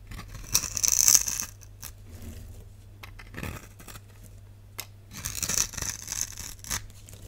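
A palm-sized, solid bright green bar of soap, held in the hand, is carved with a box-cutter blade that scores its surface into small green cubes. Crisp, bright scraping and crumbling bursts come in two main clusters, with a low steady hum underneath.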